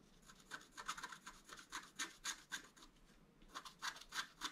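A wooden stylus scratches lines along the right antler on a flat black-coated scratch art card. Quick, uneven, bright scratching strokes repeat at a soft level, with a brief pause before the final few strokes.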